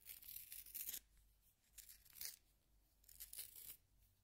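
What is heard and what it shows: A solid yellow wooden pencil is turned by fingertips in a small pink plastic hand sharpener, and the blade shaves the wood. Three bursts of bright, dry, rasping shaving are heard, separated by quiet pauses, with little low end.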